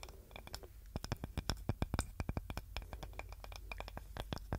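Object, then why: Small wooden cutting board. A small, light-coloured, solid, flat wooden serving board with a handle is held in both hands and scratched and tapped with long nails. A quick, irregular run of many short, dry taps and clicks, each with a low knock and a bright tick, dies away almost instantly over a soft scratchy rustle.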